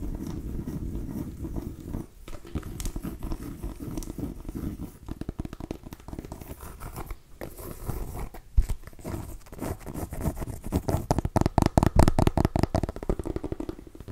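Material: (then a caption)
Pumpkin rind. Long nails scratch and tap on a small orange mini pumpkin, a hollow gourd with rough skin. A dense, low, rustling scratch gives way to brief, dull, hollow taps that grow sharper and more distinct toward the end, each dying away almost instantly.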